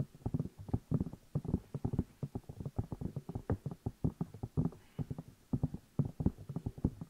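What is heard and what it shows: Fingertips tap and rub the two hollow rubber or silicone ear pieces of a black binaural microphone while the hands cup them. Dozens of quick, dull, muffled thumps follow in an uneven rapid stream, deep and boomy with almost no bright edge and each dying away at once.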